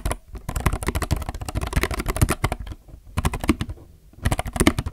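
Both hands type with their fingertips on a compact mechanical keyboard with plastic keycaps. Rapid, dry, short keystroke clacks with a deep, thocky low end come in three bursts, separated by brief pauses.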